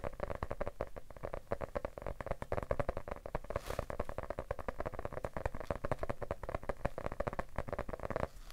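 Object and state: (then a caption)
Hardcover book tapped. A medium, solid, closed yellow hardcover paper book is held in one hand and tapped rapidly with the fingertips of the other hand. The taps come as a dense, continuous patter of soft, dull thuds with a hollow mid-range tone around 580 Hz. Each tap dies away almost instantly, with little bright content.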